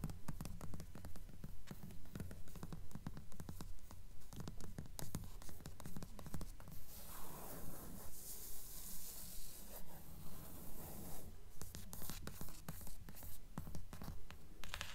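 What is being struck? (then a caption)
Paperback book with card cover. Long nails tap and scratch the card spine and front cover of a thick blue paperback book with a paper cover, held at an angle. A steady, rhythmic run of soft, dull taps carries through, with a brighter, hissing scratch swelling in the middle before the tapping returns.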